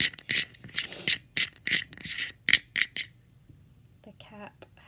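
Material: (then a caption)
Plastic. Fingers tap on the cap of a facial moisturizer jar, which has a small flower logo on it. The bright, clicky taps come in quick, uneven bursts and die away almost instantly. They give way to quieter rubbing near the end.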